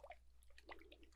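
Water-filled globes are shaken, giving soft, quiet sloshing with small dripping plinks and bright, short liquid blips over a steady low hum. The contents are only named as water, not checked.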